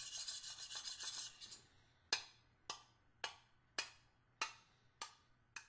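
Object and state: Stainless steel hip flask.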